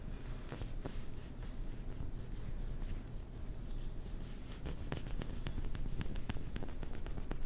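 A small white hollow plastic ping pong ball is rubbed and rolled between the hands close to the mic. The result is a steady low, muffled rubbing rumble with faint dry skin friction. Sharp little clicks and ticks grow more frequent and brighter in the second half.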